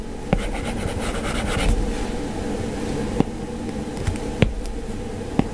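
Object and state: Stylus on a tablet glass screen.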